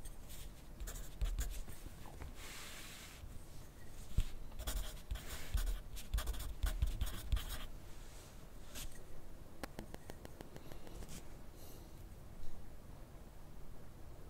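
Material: Paper.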